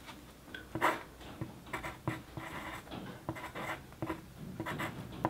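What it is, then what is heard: Pencil writing on paper. The tip of a wooden pencil scratches across a flat white paper sheet lying on a desk during continuous writing. Quiet, dry scratching strokes come in uneven bursts, with brief sharper ticks and soft rasping between them.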